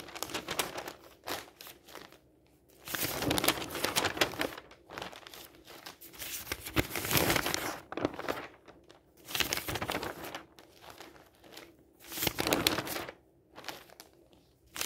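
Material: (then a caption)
Newsprint paper. Fingers flip the thin pages of an open newsprint newspaper lying on a table and smooth them down with the palm. Bright, dry crinkling and rustling comes in uneven bursts, with louder swells on each page turn and quieter brushing between them.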